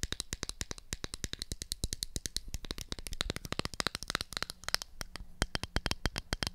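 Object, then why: Small plastic toy makeup compact. A small, round, pink and black hollow plastic toy makeup compact is tapped and scratched with long acrylic nails on its lid and sides. Dozens of sharp, dry clicks come in a rapid, steady stream, each dying almost instantly, with bright, high edges over a faint hollow low thump and soft scratchy friction between taps.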